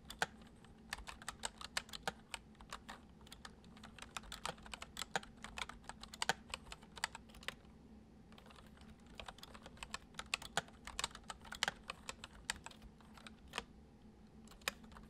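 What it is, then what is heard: Plastic computer keyboard. Fingertips of both hands type quickly on the hollow keys of a full-size white plastic computer keyboard resting on a wooden desk. Fast, crisp, bright clicks and taps run in uneven bursts over a faint steady low hum, with a brief pause near the middle. Each tap is short and dry, dying away almost instantly.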